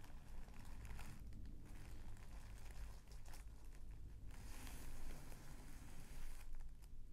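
A small folded bundle of mint green tissue paper resting on a bedspread is pressed and rubbed with the fingertips and palm of one hand. Soft, continuous crinkling and rustling rise and fall in bursts over a low rumbling background.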